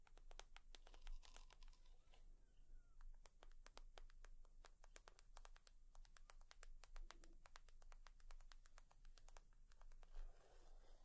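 Long nails tap and scratch a leather purse in quick, uneven bursts of sharp, bright clicks with short scratching strokes between them. The sound stays quiet throughout, over a steady low hum.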